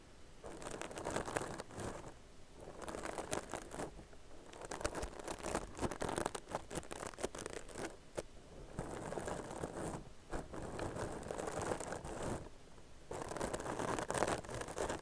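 Long nails scratch and rub the open-weave texture of a soft, hollow, tan crochet-knit straw bag held close to the mic. The result is dry, crinkly scratching and rustling in repeated bursts separated by brief pauses.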